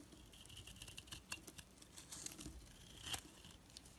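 A knife blade shaves thin curls off a rounded, rectangular, solid orange soap bar held in the hand. It makes a quiet, bright crinkling and scraping sound with a steady run of short, crisp ticks, plus a few sharper scrapes that stand out.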